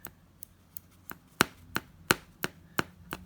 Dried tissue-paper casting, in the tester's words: if I tap it, you can hear it's quite solid